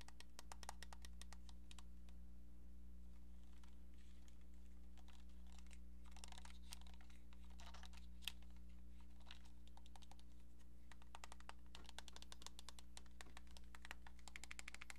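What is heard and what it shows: A hollow pink plastic cordless phone handset, held in the hands, is tapped and scratched with long nails. Quiet, rapid, bright clicking taps come in bursts with soft scratching between them. A steady low hum runs underneath throughout.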